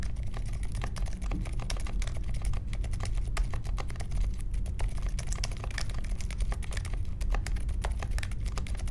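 A small 60% mechanical keyboard with a grey case, white, mint and pink plastic keycaps and silent linear switches rests on a marble desk and is typed on steadily with the fingertips of both hands. Soft, muted keystrokes patter in a fast, continuous stream, each a short dull tap with a quick bright click on top over a low thuddy base.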